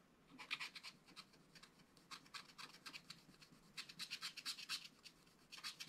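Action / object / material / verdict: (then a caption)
scrape / wax-coated scratch-art card / wax coating / none. A wooden stylus scratches fine lines into a fish drawing on a black wax-coated scratch-art card in a spiral book. Quick, quiet, bright scratching strokes come in short bursts and clusters with brief pauses between them, with almost no low end and no ring after each stroke.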